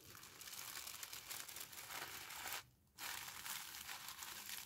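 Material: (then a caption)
Paper. Thin pink tissue paper wrapped around a small flat parcel is folded, creased and pressed flat by fingertips with long painted nails. It makes a steady, bright, airy crinkling, broken by a short near-silent pause just past the midpoint before the crinkling resumes.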